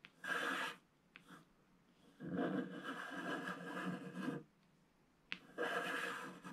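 A wooden stylus scratches across a flat, black, wax-coated scratch-art sheet at the ship area while the other hand steadies the sheet. Three dry, raspy scratching passes are heard, the middle one long and sustained, with brief faint ticks and quiet pauses between them.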